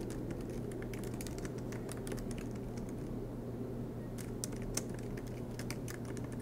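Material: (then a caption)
Plastic. Fingertips of both hands type continuously on a silver MacBook Pro's black plastic low-profile keys set in an aluminum chassis. Soft, bright key clicks patter quickly, with a brief lull near the middle, over a steady low hum.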